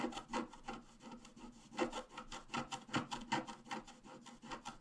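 A wooden stylus point is scratched across a flat A4-size scratch-art sheet with a black coating over a rainbow layer, while the sheet lies on a table held by the other hand. Quiet, dry scraping strokes repeat at an uneven pace, each a brief raspy burst with a bright, papery texture that stops almost at once.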